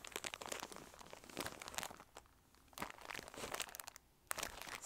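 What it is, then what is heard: Cellophane-wrapped paper plates. Skull-shaped paper plates, about 20 cm across and sealed in a clear plastic cellophane bag, are held in both hands, squeezed, rubbed, crinkled with the fingertips and turned edge-on. Bright, dense crackling crinkles come in bursts, with brief quieter pauses around the middle and near the end.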